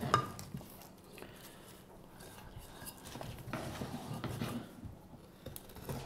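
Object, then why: Wooden spoon blank carved with a knife. A carving knife whittles the handle of a solid, pale wooden spoon blank held upright, scraping the wood. Quiet, dry scraping strokes come and go, with a sharp click near the start and low-heavy, soft texture throughout.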